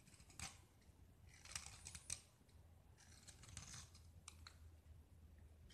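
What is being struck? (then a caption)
Painted gypsum block scraped with a metal knife blade. A small solid white gypsum block with a blue painted rim is held in hand and scraped with a segmented metal utility knife blade, shaving off white powder and flakes. Short, bright, crisp scraping strokes come in irregular bursts over a quiet, low background hum.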